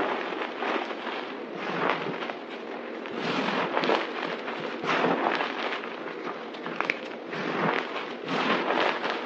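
Hands press and scrunch a pile of white, crushed dry soap powder and chunks on a table with palms and fingers. A dense, bright crackling crunch runs throughout, swelling into louder gritty bursts with each press.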